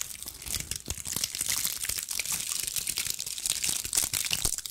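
A fist-sized, ball-shaped bundle of small dried pine cones with brittle woody scales is held in both hands and scratched and squeezed with long acrylic nails. It gives a steady stream of dry, bright crackling and crunching, with quick sharp clicks from the scales and a few soft low thumps underneath.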